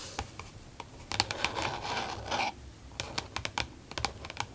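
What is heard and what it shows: Long nails from both hands rapidly tap and scratch a flat, glossy green plastic case with an elastic band closure lying on a desk. Sharp, bright clicks are broken up by stretches of dry scratching, with the loudest scraping around the middle. Each tap dies away almost instantly.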